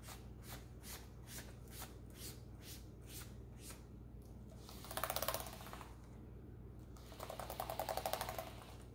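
A hand in a green rubber glove wipes and rubs a white cloth across the keys of a black plastic laptop keyboard lying open on a granite counter. Soft, regular brushing strokes sweep over hard, hollow-sounding plastic keys above a steady low hum. Two louder bursts of rapid, clicky rattling follow as the cloth catches and jostles the keys.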